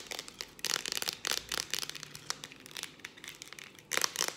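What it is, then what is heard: Aluminium aerosol can with plastic cap. Long dark acrylic nails tap fast on a hand-held, hollow Farmdale aluminium whipped cream aerosol can, striking both its metal body and its ribbed purple plastic cap. Dense bursts of sharp, bright clicks and crinkly ticks come in quick clusters with almost no low end, and each tap dies away instantly.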